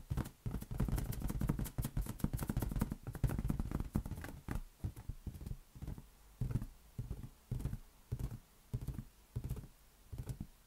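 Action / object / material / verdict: tap / inflated latex rubber balloon / latex rubber / none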